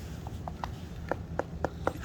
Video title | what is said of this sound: MMH Matt Hripto bad concrete work 1 | there's also a lot of these Stones where I tap on them and they're Hollow